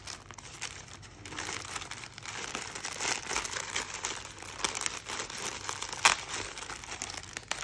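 Fingertips pull and crinkle the thin plastic of an opened teal polyethylene mailer bag with something soft inside. A continuous, bright crinkling rustle with short crackling bursts fills the clip, swelling in the middle, with one sharper crackle near the end and almost no low end.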